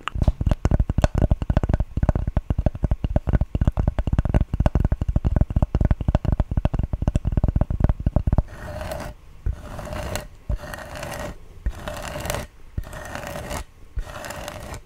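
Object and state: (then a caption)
Cork board. Fingertips and medium-length nails work over a thin, solid rectangular cork board, about coaster-to-notepad size, held up in front of a foam-covered microphone. For the first eight seconds there is a fast, dense run of dull, bass-heavy taps. Then the sound shifts to about six brushy scratching strokes, each carrying a soft midrange hiss.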